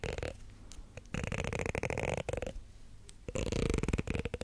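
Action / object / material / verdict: scrape / plastic comb / plastic / none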